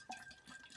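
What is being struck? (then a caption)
Tumbler containing water. A tumbler with water inside is moved so the liquid sloshes, giving a faint, short watery swish. Higher-pitched trickling and a soft ringing tone come through, with two brief bursts.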